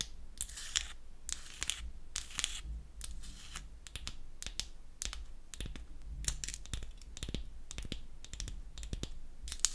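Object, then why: Small painted wooden toy bottle. Long acrylic nails tap and scratch the top and front of a small, solid, pink-painted wooden toy nail polish bottle held in the palm. Quick, dry, bright clicks alternate with short brushy scratching bursts over a steady low hum, with no ring after each tap.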